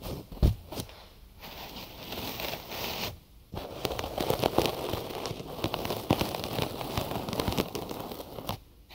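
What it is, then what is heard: Cotton gauze bandage scratched over a microphone. Fingertips and nails scratch the layers of a white cotton gauze bandage wrapped around a binaural microphone, which is held in both hands, working on the ear sides. The result is dense, crackly, crinkling rustle with many quick scratches across a broad range up into bright highs. There is a brief near-silent pause a little past three seconds before the scratching resumes.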